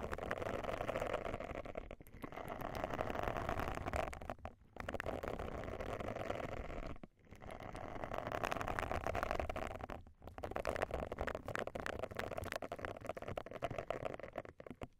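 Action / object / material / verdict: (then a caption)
scrape / silicone cleansing brush with soft nubs / silicone / none. Long nails scratch and brush across the soft bristle nubs of a round silicone face-cleansing pad laid over the microphones. The result is a dense, continuous scratchy rustle centered in the midrange, broken by brief pauses before the scratching resumes.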